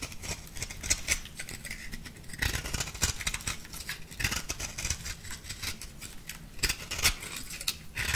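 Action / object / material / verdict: scrape / compressed powder bath bomb / compressed powder / none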